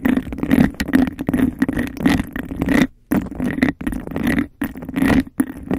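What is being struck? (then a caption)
Textured glass cup. Long nails scratch the sides of a hollow, empty textured glass cup and tap its rim fast, making a dense, rasping scrape with quick clicks. The sound carries a steady low-mid hum near 240 Hz and a faint bright edge, in bursts separated by brief silent gaps.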